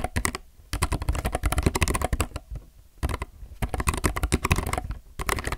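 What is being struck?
Mechanical keyboard with plastic keycaps.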